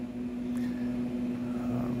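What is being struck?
Nothing is struck.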